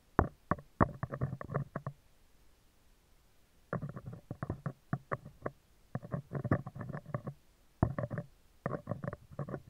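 Metal tweezers rapidly tap and scrape the top and left side of a hollow spherical steel mesh microphone grille. The result is quick bursts of close, muffled ticking with a deep, thuddy low end and little brightness, separated by brief pauses. A longer gap falls about two seconds in.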